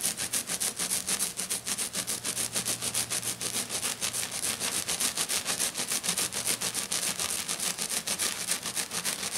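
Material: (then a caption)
Glitter. Both hands scratch fast with short, dark-painted fingernails across a thin, solid, flat silver glitter-coated sheet lying on a table. A steady run of rapid, bright, gritty scratching strokes comes at roughly three to four per second, with a faint low hum underneath.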